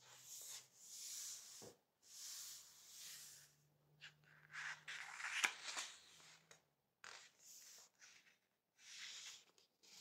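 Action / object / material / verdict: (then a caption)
scrape / matte paper book page / paper / none. A flat palm and fingertips rub and smooth across the same printed page of a large softcover book of Munken matte paper, lying open on a wooden table with a photo of a hair-dye box on the page. The sound is a quiet, bright, airy hiss of paper friction in soft swells, broken by a few short taps and crinkles.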